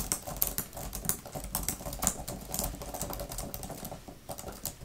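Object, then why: Plastic keyboard cover. Long-nailed fingertips type quickly on a grey, thin plastic laptop keyboard type-cover with flat plastic keys. The result is a rapid, uneven stream of short, bright clicks and taps that stop dead with no ring, over a soft low rumble.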